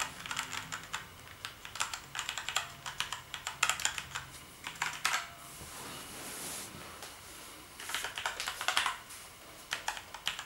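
Fingertips press and tap the keys of a black plastic gaming keyboard, producing bursts of sharp, bright clicks and clacks. Typing pauses briefly midway, leaving a soft hiss, before the tapping resumes.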